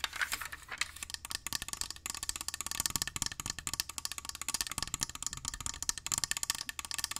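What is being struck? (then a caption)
Small glass jar holding coins. A small clear glass jar partly filled with coins is held in the hands and tapped and scratched with fingernails in a fast, steady stream of short, sharp clicks. The sound is bright and dry, with each tap dying away almost at once, while the coins may rattle inside the jar.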